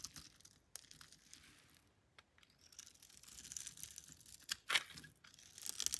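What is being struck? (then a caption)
Bar of soap scraped with a metal blade. A metal blade scores a grid into a solid, palm-sized pink bar of soap held in the hand and then shaves it, so flakes fall away. The result is a quiet, bright, dry scraping and crinkling in irregular strokes, with brief pauses, one sharper louder scrape near the end, and a final crisp build-up of shaving.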